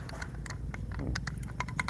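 A bamboo staff kept as an heirloom is shaken, and something loose inside it gives off quick, faint, bright clicks and rattles over a steady low rumble. The contents are unknown, and the staff stays unopened.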